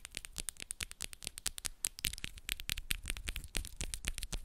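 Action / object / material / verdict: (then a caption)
tap / long acrylic press-on nails / acrylic / none. Long, solid acrylic press-on nails are tapped quickly against each other between both hands. The result is a rapid, dense stream of sharp, bright clicks with dull low thumps underneath, each click dying away almost instantly.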